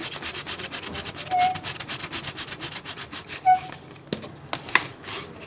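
Fingers and nails scratch and rub the ribbed sides of an empty, hollow, clear PET plastic water bottle. A steady run of quick, bright scraping strokes carries a hissy, crinkly texture, with a couple of brief squeaks along the way. Toward the end the strokes thin out into a few sharp plastic clicks and taps.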